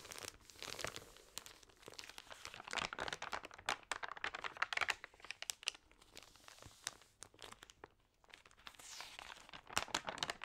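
Long-nailed fingers rub and turn the thin, wavy, damp pages of an open printed magazine that has been sprayed with water. Dense, bright crinkling and sharp crackles come in quick bursts with short quiet gaps and almost no low end. Each crackle snaps off instantly.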